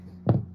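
A sterling silver ring marked 925, set with a blue mabe pearl, is knocked twice in quick succession, giving short, dull, low-pitched taps with little ring. The solid sound shows a heavy, well-made ring rather than a cheap, tinny one.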